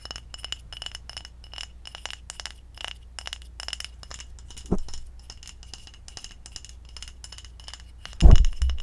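A small glass kombucha bottle with a white plastic cap, full of red liquid, is held in the hand and tapped quickly with long acrylic nails, giving a run of light, bright, glassy clinks that die away almost at once. Two heavier knocks stand out, one midway and a louder one near the end, over a steady low hum.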